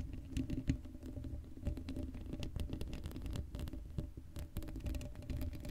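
Long blue acrylic nails on both hands scratch across the hollow black woven metal mesh grille of a Blue Yeti microphone head, with no foam cover on it. A dense, rapid patter of scratchy taps comes through, heavy in the low end with a steady low hum underneath and brief bright ticks on top.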